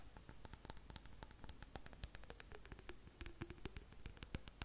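Long nails tap and scratch on the glass surface of a clear glass jar with blue contents. A quick, uneven run of soft, sharp clicks mixes with light scraping, and each tap leaves a brief, high glassy ping that fades almost at once.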